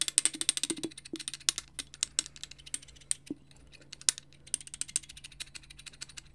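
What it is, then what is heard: Frosted glass bottle, tapped with nails. A frosted glass bottle with a clear glass stopper and twine is held beside the mic and tapped with fingertips and nails. The result is a fast, uneven run of dry, bright clicks and ticks with a small, hollow tone and almost no ring, giving way to scattered lighter taps.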